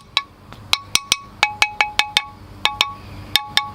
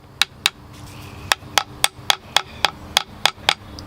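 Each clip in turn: First: Bright, bell-like pings from quick taps on a ceramic bonsai pot that is whole, with no crack. Second: A dozen quick, dry taps on a ceramic pot, each dying instantly with no ring: it is cracked.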